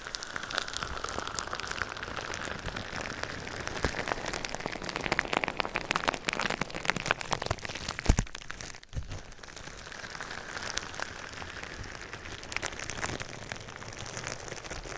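Clear plastic bubble wrap wrapped around a binaural microphone is scratched and rubbed by fingertips and nails. The result is a dense, steady crackle of fine crinkling ticks with bright, rain-like texture, briefly dipping quieter around the middle before resuming.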